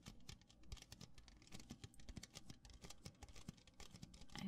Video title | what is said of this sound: ASMR -- Tapping Cups and Pouring Soda (Fizzing Sounds) | I feel like it makes some really nice noises